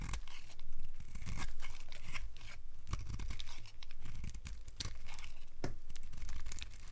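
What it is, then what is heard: Dry bar soap scraped with a blade. A solid, cream-colored rectangular bar of old, dry soap is held in the hand and scraped with a utility knife blade, peeling off curly flakes. The result is a steady, dry, crunchy scraping, with bright crackles and scratchy bursts over a low rumble.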